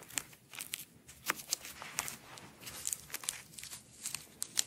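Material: Nylon.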